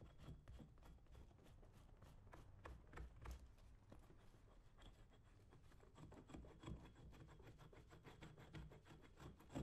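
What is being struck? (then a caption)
Leather work boot. A metal scraper blade is drawn along the lathered upper of a brown leather lace-up work boot worn on a foot, with the other hand steadying the boot. Soft, quick rasping scrapes repeat irregularly over a low, rumbling background, each stroke a short bright swish that fades fast.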